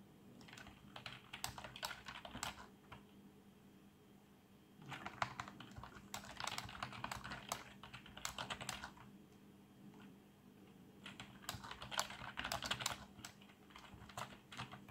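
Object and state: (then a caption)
Plastic membrane keyboard. Both hands type fast with their fingertips on a black plastic membrane keyboard with RGB backlight, producing quick, soft, bright clacks. The typing comes in three bursts separated by short pauses, over a faint steady low hum.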